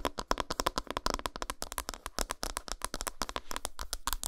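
Long nails rapidly scratch and tap the flat back side of an unwrapped solid dark chocolate bar. A fast, steady run of short, dry, clicky taps mixes with brief scratchy bursts, some carrying a faint tone around 1 kHz and a bright edge. Each sound dies away almost instantly.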